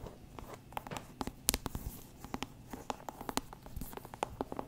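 Long manicured nails tap and scratch the firm rind of a medium, whole, real orange pumpkin with a stem, a hollow fruit held against the mic. Around fourteen quick, dry, hollow taps each give a brief low tonal knock with a bright click and stop almost at once. Soft scratchy rustling fills the gaps between them.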